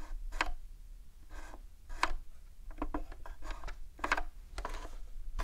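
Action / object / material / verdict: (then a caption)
tap / plastic game console casing / plastic / none. Long acrylic nails tap a hollow, dark grey hard-plastic Nintendo 64 console on its memory expansion cover, its power and reset switches, and the top casing near the cartridge slot. The result is a run of quick, dry clicks with a bright edge over a low, steady background hum. The taps are very short, with almost no ring.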